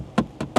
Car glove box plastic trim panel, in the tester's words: ça sonne creux mais c'est normal vu le prix et le poids de la voiture